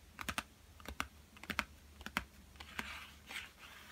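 Fingertips and short nails tap and lightly scratch a small, flat, yellow Crayola cardboard box, hollow and filled with coloured pencils, lying on a table. Sharp, irregular clicky taps with a bright, hollow papery tone and almost no ring come in loose clusters. Toward the end they give way to soft, hissy scratching.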